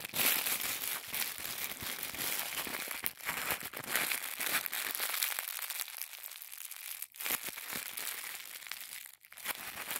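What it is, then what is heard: Thin tissue paper being crinkled. Fingertips squeeze and crinkle a small folded packet of thin white tissue paper. The result is a dense, continuous bright crinkling, with almost no low end and brief near-silent pauses around the 7- and 9-second marks.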